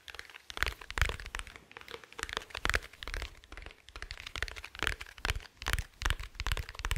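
Fingertips tap and scratch along the top and side of a small, dark, rigid, hollow glasses case held in one hand. Irregular bursts of short, dry, crackly taps mix with scratchy rubbing, giving a crunchy texture with a low hollow thump under each tap. The hits die away almost at once, with no ring.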